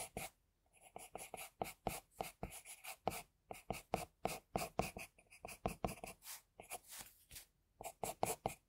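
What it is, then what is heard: Pencil strokes on drawing paper. An HB pencil in a metal extender, held in the fingers, scratches sketch strokes of an eye onto a flat sheet of white drawing paper on a desk. Around thirty short, dry scratching strokes follow one another in quick bursts, each with a papery hiss centred near 730 Hz and brief bright edges. The strokes stop dead with no ring between them.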